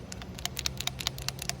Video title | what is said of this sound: Know Your Car - Air Filter and Related Lab | when you shake it you should be able to hear it clicking